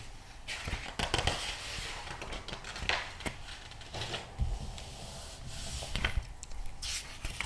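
Fingertips rub, squeeze and quickly flip the pages of a thick glossy paper magazine lying open. The result is dense, crackly paper rustling with bright swishes and sharp snaps as pages turn, over a low rumbling underlayer.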